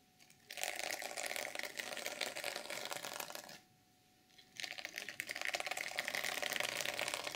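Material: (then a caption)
Sequins. Long nails scratch the sequins along the top edge of a flat black, reversible sequin fabric journal cover. A dense, bright, crinkly scratching runs for about three seconds, stops for roughly a second of near silence, then resumes just as busily to the end.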